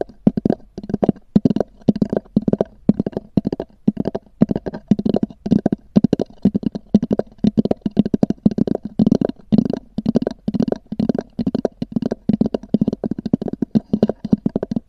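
Long natural nails of both hands tap and scratch a small black oval EVA hard-shell zippered case, likely empty, with a textured fabric-covered shell, resting on a fur rug. Rapid, dense clusters of dull, hollow taps with a low body and soft scratchy texture come in quick bursts. Each tap dies almost instantly, with no ring.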